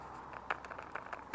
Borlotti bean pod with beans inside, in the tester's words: you can just hear that they are rattling on the inside